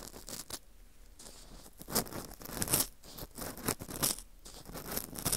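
An orange plastic earpick scrapes around inside the center hole of a dry, porous slice of dried wheat gluten fu ring. The result is a series of brittle, crackly scratches in short bursts of varying strength, with bright, crisp highs between quieter, softer rubbing.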